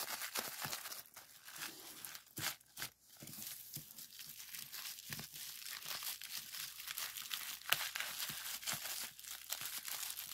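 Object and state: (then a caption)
Plastic bubble wrap. A clear plastic bubble wrap roll and sheet with hollow bubbles is squeezed, pinched and stretched with fingers. The result is a steady stream of quiet, bright crinkling and crackling, with short sharp snaps scattered throughout, including a distinct louder pop near the end.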